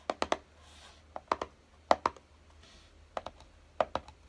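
Fingertips tap and scratch the lid of a small, hollow, closed kraft-cardboard box lying on a dark table, and near the end the box is lifted slightly in both hands. Dry, hollow knocks with a papery midrange thud come in quick clusters, twelve short taps in all, with soft scratchy brushing between them over a quiet background.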